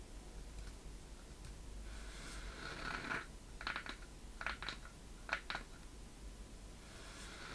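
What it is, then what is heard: Wooden treasure chest tapped with fingernails. Long painted nails tap and scratch the sides of a small, hollow wooden treasure chest with a metal latch and corner fittings, held up in both hands. Soft, bright scratching swells and fades over a steady low hum, broken by a cluster of crisp, short taps with a hollow knock around 1.4 kHz that die away almost at once.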